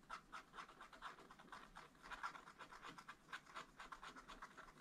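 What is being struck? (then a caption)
Wax-coated scratch-art paper page scratched with a wooden stylus. A wooden stylus scratches blossoms into a black, wax-coated scratch-art page in a small spiral-bound pad of thin, flat paper, held close under the hand. Quiet, dry, raspy scratching strokes come in an uneven rhythm of about two per second, with a papery hiss concentrated in the midrange and little low end.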